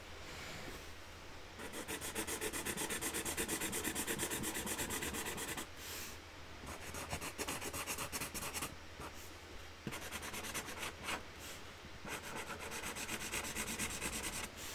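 A felt-tip marker is rubbed back and forth over a printed flower on a large, flat cardboard box lid resting on a table, colouring it in, while a pile of loose markers lies nearby. The strokes make a dry, bright, rasping scratch in steady bursts, broken by brief pauses before the colouring resumes.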